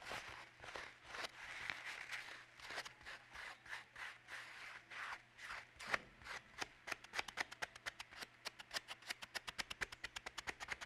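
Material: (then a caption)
Paper. A pink paper toilet roll with a hollow cardboard core is held in both hands while fingertips rub and squeeze it and unroll sheets from it. Soft, bright paper rustling comes in slow, swelling waves at first, then turns into a quicker run of short, crisp crackles toward the end.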